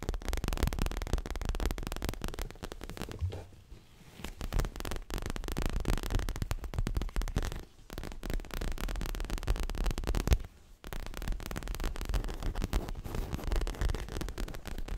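Long fingernails of both hands tap fast on a soft, stuffed, dark grey leather-covered pillow held upright. The result is a dense run of dull, low, muffled thuds with little brightness, broken by short pauses near 4, 8 and 10.5 seconds.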